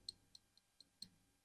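Five quick taps land on a cylindrical lithium cell, each a thin high click that dies away at once. The tapped 18650 battery comes across as hollow, lacking the dense, firm note of a well-packed cell.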